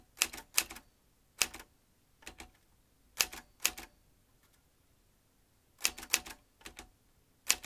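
Fingertips of both hands type on the round keys of a vintage metal manual typewriter, its typebars swinging up to strike. About eleven sharp, bright clacks come in irregular bursts with pauses between. Each clack dies almost instantly and has very little low end.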